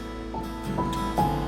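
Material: Nothing is struck.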